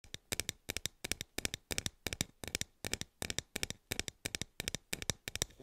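Plastic toy fruit is tapped in quick clusters of three or four light, sharp taps, repeating steadily. The taps are bright and clicky with very little ring, leaving crisp plastic knocks with a faint hollow body between soft pauses.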